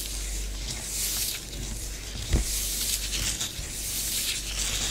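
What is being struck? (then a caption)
Bath bomb powder on a tabletop. Long fingernails of both hands scratch swirls through orange bath bomb powder spread on a tabletop. The result is a continuous bright, hissy scratching with a steady low hum beneath it, and one brief louder scrape midway through.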